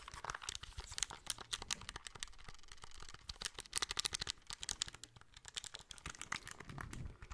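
Fingertips and nails tap and click rapidly across the front of a small, hollow, grey plastic handheld game console held in both hands, around the screen and buttons. The clicks are dense, dry and bright, with almost no ring and a faint low rumble beneath.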